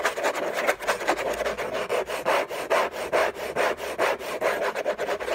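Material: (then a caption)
Cardboard. Fingernails scratch fast and hard across a hollow, orange textured-paper rigid cardboard gift box resting on a rug. About 17 quick, uneven rasping strokes follow one another, each a dry, papery scrape with a hollow midrange body and bright edges.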